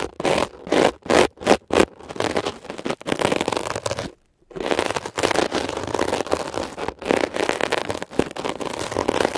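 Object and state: Mesh-covered foam scrubber sponge.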